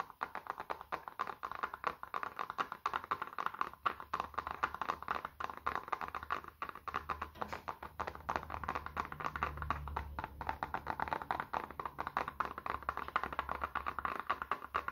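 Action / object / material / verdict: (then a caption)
tap / small smartphone / glass / none. A small, solid black smartphone, held horizontally in both hands, is rapidly tapped and scratched with the fingertips to help reduce stress. Quick, dry clicks and scratchy taps come in a dense, steady stream centered around 1.2 kHz. Each stops almost instantly, over a faint low hum.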